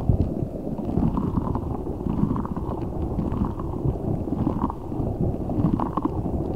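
A large translucent rubber spiky ball filled with gel water beads is squeezed and rubbed with fingertips and nails. It makes a continuous, dense, low squishing and rumbling sound with soft gurgling textures and faint brighter ticks. The level stays steady throughout, and most of the energy sits in the low range.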